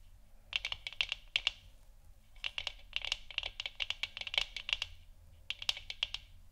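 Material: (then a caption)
Plastic. Long nails tap and scratch the sides of a hollow plastic moon lamp sphere, and the hands tilt the lamp slightly at the end. The result is quick, bright, dry clicks with no ring, around 2.8 kHz, coming in three clusters separated by short pauses. A faint low hum sits underneath.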